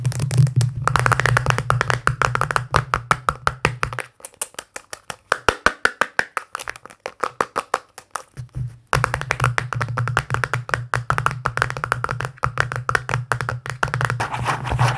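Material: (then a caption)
Plastic. Fingertips and nails tap rapidly and unevenly on the side and rim of a small, round, hollow pink plastic tub, making dry, clicky hollow knocks centred around 1.4 kHz with almost no ring. A steady low hum sits underneath the tapping for most of the clip and drops out for a few seconds in the middle, leaving just the sharper, sparser taps.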